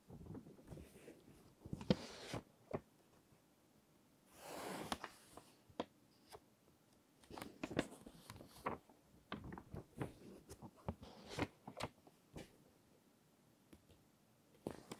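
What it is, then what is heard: Glossy paper magazine pages. Fingertips with long nails rest on and rub the edges of an open glossy paper magazine, then slowly turn a page. Quiet, scattered taps, ticks and soft paper rustles are broken by a longer, brighter swish of the sliding page near the middle. More crisp nail clicks and crinkles follow over near silence.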